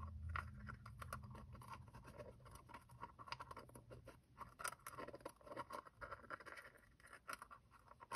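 A small hollow two-piece plastic gacha capsule with black and orange halves is held in both hands as thumbs scrape and twist its seam while prying it open. Dense, rapid scratchy clicks and scrapes cluster in the midrange around 1.4 kHz, with a low rumble early on and brief, quickly fading ticks throughout.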